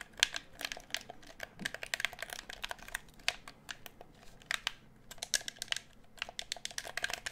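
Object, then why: Plastic game controller. A small, hollow black plastic gamepad is held in both hands below the mic while fingertips and nails tap quickly on its buttons and shell. About 36 sharp, bright clicks and taps come in rapid, uneven bursts, with almost no low end. Each one stops dead with no ring.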